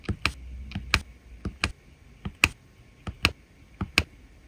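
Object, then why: Resin rhinestone drills on a diamond painting canvas, tapped with a drill pen. A metal-tipped drill pen repeatedly taps resin rhinestone drills into place on the same area of a diamond painting canvas, which already holds many drills. Each tap is a sharp, dry, bright click that stops at once with no ring, and the clicks often fall in quick pairs over a faint low hum.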